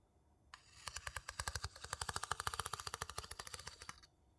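A small, hollow, empty light-wood bowl held in one hand has its inside scraped and tapped rapidly with the tip of a wooden spoon. After a brief scrape, about 33 quick, dry, bright clicks follow in a steady run, each dying away almost instantly with a hollow woody tone around 1.2 kHz.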